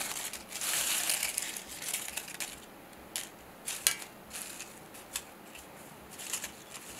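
Fingertips pick up, crush and rustle a pile of dry, brittle rose and flower petals on a silver metal tray. A dense, bright crackling crunch fills the first two and a half seconds, then thins into quieter rustling broken by sharp, brittle snaps. The sound is high and crisp, with almost no low end.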